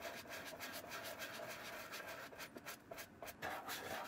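A wooden-handled bristle brush is rubbed repeatedly over the leather upper of a hollow brown leather shoe with a brass buckle, held in one palm. Quick, somewhat uneven strokes make bright, scratchy swishes with a faint steady tone in the mids underneath. The brushing stays quiet and close, with a few louder strokes near the end.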